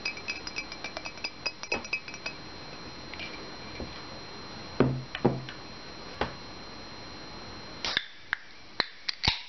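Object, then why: Ceramic mug. Fingernails tap on the body of an empty ceramic Minnie Mouse mug held in the hand, with the hands partly covering it by the end. A quick run of light, bright clinks gives way to fewer, louder taps with short, glassy rings, over a faint steady high tone and low hiss.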